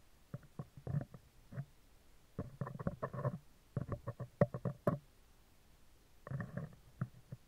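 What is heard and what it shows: Metal tweezer tips repeatedly tap and scratch the right side of a hollow, spherical steel mesh microphone grille. The result is clusters of soft, dull ticks and scraping rustles with short pauses between them. The sound is muffled and heavy in the lows, with a faint mid-range ring and no bright edge.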